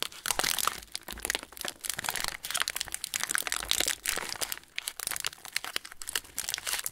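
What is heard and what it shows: Fingertips crumple and twist the loose film at the top of a yellow plastic-wrapped TUC cracker packet standing upright on a table. Dense, bright crinkling and crackling run for the whole clip in rapid, uneven bursts, with almost no low end and brief dips between handfuls.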